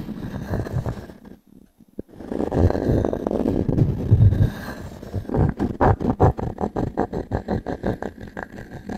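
A small wooden cube is rubbed and scraped across a solid round pine log-slice coaster held in one hand, giving a low, dry, gritty scraping that pauses briefly before continuing. The cube is then set down and tapped on the coaster in a quick run of short, dull wooden knocks that fade almost instantly.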